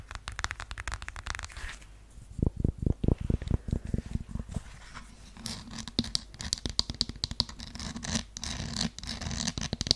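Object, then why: Faux suede high-heeled sandal. Long yellow acrylic nails scratch and tap the straps and heel of a beige strappy high-heeled sandal that looks like faux suede, held up close to a microphone. Bright, rapid scratching opens the clip, then gives way to a run of dull, low thuds from tapping. The scratching returns with a crisp, hissy texture, mixed with quick, irregular taps.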